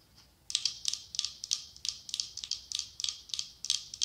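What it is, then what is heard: Glass candle holder. Long acrylic nails tap 17 times on the side of a medium cylindrical glass candle holder decorated with autumn leaves, with a candle inside. After a brief quiet start, each tap gives a bright, high, clicky tick that dies away almost at once, in a quick, uneven rhythm.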